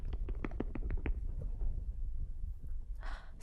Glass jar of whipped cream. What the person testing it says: until suddenly you won't hear any liquid sounds